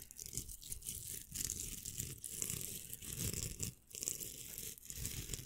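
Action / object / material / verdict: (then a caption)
scrape / plastic velcro hair roller / plastic / none. Fingernails scratch across the hook surface of a pink hollow velcro hair roller. The result is a quiet, continuous, dense rasping crackle with bright, hissy detail and a soft low rumble underneath. Short dips break up the steady scratching.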